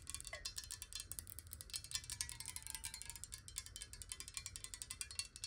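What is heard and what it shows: Long nails tap rapidly on a clear square glass bottle, partly filled with water and held sideways. A quick, steady stream of short, bright clicks rings with a high glassy tone that dies away almost instantly, over a faint low rumble.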